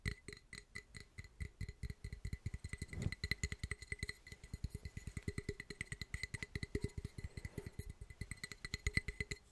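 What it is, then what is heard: Glass coffee press tapped. The cracked glass carafe of a French coffee press is tapped in a rapid, steady series. Each tap gives a dull low knock with a short, bright glassy ping near 2 kHz that dies away almost at once.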